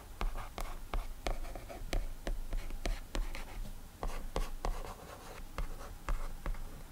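A single fingertip slides and rubs across the glass touchscreen of an iPad resting on a desk, drawing with short, scratchy strokes. The strokes come as a quick series of soft, bright ticks and swishes over a low, steady rumble.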